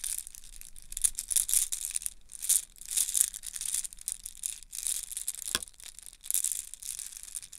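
A yellow plastic link chain is bunched into a ball and crushed and rubbed between both hands. The links clack and crackle in dense, bright bursts that swell and fade. Near the middle, one sharper clack cuts through.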